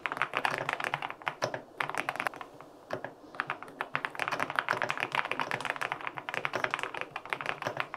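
Fingertips type rapidly on a white LINK65 mechanical keyboard with an aluminum case and white and pink plastic keycaps. Dense bursts of short, crisp, clacky key taps with a bright midrange click and almost no low thump run throughout, with a brief lull partway through.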